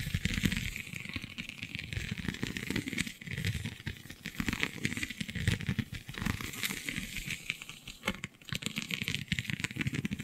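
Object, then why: Textured vinyl sheet. Long nails scratch and pick at the raised scale-like bumps of a flexible, iridescent holographic scale vinyl sheet. The result is a steady, dense stream of dry crinkly scratching and quick clicking ticks with bright high hiss. Soft low thumps rise and fall beneath it, and nothing rings on after each pick.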